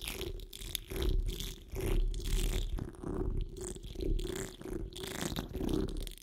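Fingertips and long nails claw and scratch at a hollow metal mesh microphone grille dome while the hands cup the grille. It produces deep, muffled rumbling swells with a faint scratchy hiss on top, rising and falling in repeated waves.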